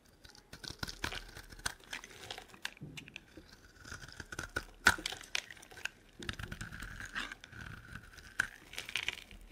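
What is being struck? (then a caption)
Bar of soap cut with a metal blade. A solid, dry green and white striped soap bar is held in the hand while a metal blade carves cubes and shavings from it. Dense, crisp scraping, crumbling and crackling cuts come in quick bursts with sharp clicks, over a faint steady tone near 1.5 kHz. Loose pieces and shavings break away from the bar.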